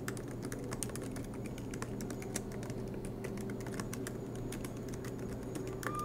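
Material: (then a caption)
Plastic. Both hands type continuously with fingertips on a silver MacBook Pro laptop, tapping its low-profile black plastic keys set in an aluminium body, with the laptop resting on a desk mat. A steady stream of short, dry clicks rides over a constant low hum.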